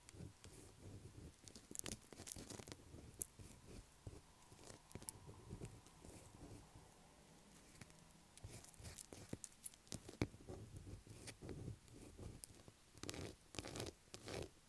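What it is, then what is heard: Bar of soap being scratched. Long acrylic nails scratch a solid blue bar of soap lying on a table among soap shavings. The result is dense, irregular scratchy crackles and brief dry clicks, with a low rumbling texture underneath and a quieter stretch near the middle.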